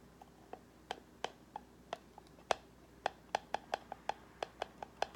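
Long nails tap and scratch the sides and lid of a small, hollow white cardboard gift box with gold-foil edges. Sixteen short, dry, hollow taps ring out with no lingering resonance, each a mid-pitched knock with a bright edge over a quiet background.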